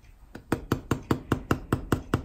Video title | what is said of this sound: European-style Whole Grain Sourdough Bread | if we flip it and tap the underside of it if that sounds Hollow then your bread is done